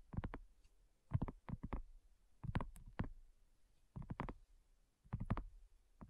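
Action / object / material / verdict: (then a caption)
tap / thin silicone coaster tapped with fingernails / silicone / none. Long nails tap on a flat, round pink dotted silicone coaster that is thin and solid. The taps land in quick clusters of soft, dull clicks with a low thud and almost no ring, separated by brief quiet gaps.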